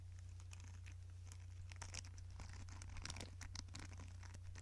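Fingertips and nails scratch and rub the dark plastic bristles and hollow-looking plastic back of a small yellow plastic paddle hair brush held in front of a microphone. Quiet, irregular crinkly scratches and short bright ticks patter unevenly over a steady low hum.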